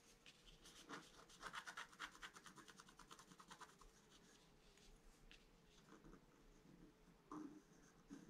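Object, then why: Coated scratch-art paper card scratched with a wooden stylus. A pointed wooden stylus held in the fingers scratches the black coating of a flat A4-size scratch-art card with a colored foil layer beneath, lying on a white table while the other hand steadies the card. Quick, dry, bright scratching strokes come in rapid bursts, then thin out into lighter scrapes over a faint steady hum.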